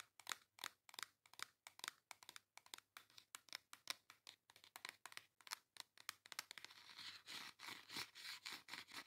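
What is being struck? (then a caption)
Cardboard makeup palette tapped and scratched with nails. Long acrylic nails tap quickly on the cover of a flat pink cardboard face makeup palette held in the hand, making a fast run of dry, bright clicks with almost no ring. After about six and a half seconds the taps turn into steadier scratching across the cardboard, with a hissy, high-heavy texture.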